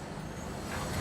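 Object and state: Nothing is struck.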